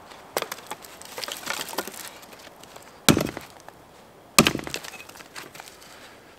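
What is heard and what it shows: A steel axe chops a pile of thin, dry spruce branches lying across a snowy log into firewood, with a gloved hand steadying the solid wooden sticks, outdoors in a winter forest. Sharp, bright woody cracks ring out, with crackling snaps and splintering between the heavier blows. The brittle sticks break apart cleanly against the log.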